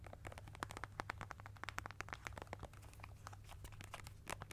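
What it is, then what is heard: Plastic paint tube. A small, hollow, blue and white plastic squeeze tube of studio acrylic paint, apparently partly filled, is held in both hands above a foam-covered microphone and tapped and squeezed with long nails and fingertips. Quick, dry plastic clicks and crinkly crackles come in a fast, uneven stream over a steady low hum. The whole clip stays quiet and close.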